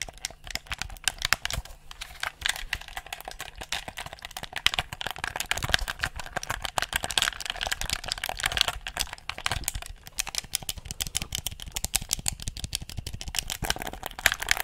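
A handheld, hollow black plastic gamepad is worked by thumbs pressing and clicking its buttons and sticks. A rapid, dense stream of sharp, bright plastic clicks and taps continues steadily throughout, each click dying away almost instantly.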